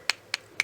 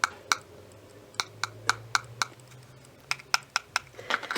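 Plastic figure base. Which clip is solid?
The first.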